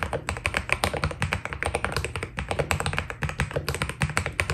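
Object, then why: Mechanical keyboard with PBT plastic keycaps. Fast fingertip typing with both hands on a white Keydous NJ80 mechanical keyboard with PBT keycaps. It makes a dense, steady stream of short, dry key taps with a deep low thock and bright clicky edges, each dying away almost instantly.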